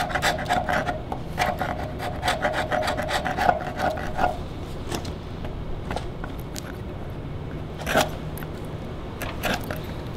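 Gloved hands scrape a steel chisel along the bare wood surface of a large, solid, debarked log. Quick, rasping strokes carry a faint tonal squeal for the first four seconds, then fade to a low, steady rumble. A few sharp, bright scrapes stand out near the end.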